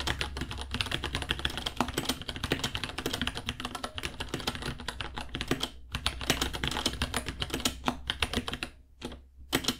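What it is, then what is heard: Plastic mechanical keyboard. Fingertips type rapidly on a white 66-key mechanical keyboard, about 30 cm, with plastic keycaps, a hollow case and Gateron Brown switches. A dense, steady stream of short, bright plastic clacks with hollow low thuds dies away almost instantly over a faint low hum. Typing pauses briefly near the 6-second mark and again near the end before a few final keystrokes.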